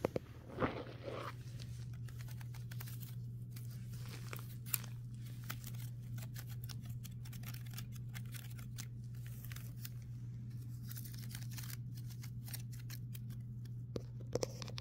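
Fingertips and nails tap and scratch along the woven strands of a hollow, woven brown wicker basket. Dry, crackly scratching and light, short ticking taps sit quietly over a steady low hum. A few sharper clicks stand out near the start and end.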